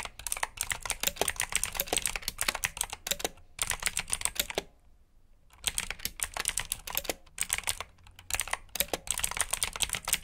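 Fingertips type steadily on a black plastic backlit mechanical keyboard with blue switches, producing bright, crisp clicky keystrokes in rapid bursts. Around the middle there is a brief pause of near-silence before the typing resumes.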